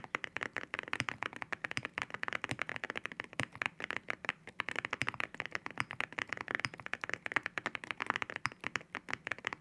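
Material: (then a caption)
Ceramic. Fingertips type steadily on a mechanical keyboard with ceramic keycaps. Rapid, crisp clacks come in dense runs, each sharp, bright and glassy with a hard ring near 1.9 kHz, very little low end, and almost no decay.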